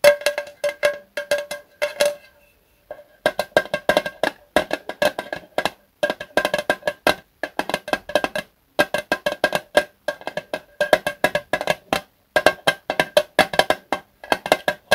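A small Zippo lighter fluid can, made of thin hollow metal with a red plastic spout cap, is held in both hands and tapped with the fingertips. The result is quick bursts of light, dry, hollow taps that ring briefly around a mid pitch near 620 Hz, with short pauses between the bursts.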